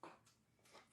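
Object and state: Crisp baked choux pastry shell.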